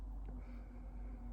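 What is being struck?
Nothing is struck.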